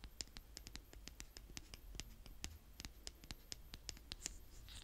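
A small blue plastic toy spade, held by fingertips with long painted nails, is dragged and scraped through the surface of a small mound of brown kinetic sand on a tray. The result is a quiet, close, gritty scraping dotted with a rapid series of sharp, bright little clicks and crackles, over a low, soft rumble.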